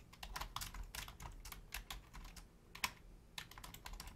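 Both hands type rapidly on a black plastic Logitech full-size keyboard with a hollow shell and membrane keys, striking with long painted nails and fingertips. Quick, dry, clacking taps follow one another in uneven bursts, each bright click dying almost instantly, with one sharper, louder tap standing out near the end.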